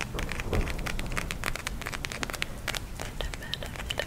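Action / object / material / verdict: tap / plastic gel eye mask filled with beads / plastic / none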